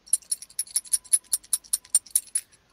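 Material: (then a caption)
Metal. A Blackhawk emergency rescue rigger belt, a tactical belt with metal buckle hardware, is shaken. It makes a rapid series of bright, high-pitched metallic jangles and clinks that cut off quickly, then falls silent.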